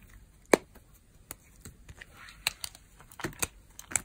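A metal blade shaves thin, crunchy layers from a pale green, very dry old solid soap bar held in the hand while the fingers press the bar. About nine sharp, dry crunches and snaps stand out over a quiet background, each with a short, bright crackle that dies away almost instantly.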